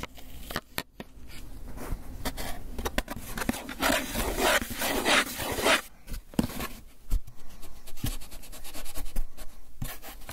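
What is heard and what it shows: A small, hollow, white foam hinged takeout box, closed and apparently empty, is held up in one hand while the fingertips and nails of the other scratch and rub its surface. The result is dry scraping and squeaky rubbing with scattered sharp ticks. A denser, brighter stretch of steady rubbing runs through the middle before returning to sparse scratches and taps.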